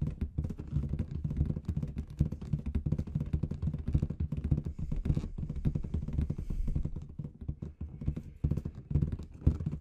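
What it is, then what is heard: Latex confetti balloon. Long red nails tap rapidly on the surface of a large inflated clear latex balloon with confetti inside. The result is a dense, continuous run of short, dull, low thumps with very quick decay and almost no bright content.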